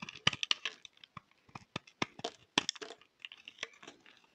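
A utility knife blade shaves a solid pink striped bar of soap held in the hand. A quiet, quick series of short, dry scrapes and crisp cutting crackles is heard, bright and thin with almost no low end.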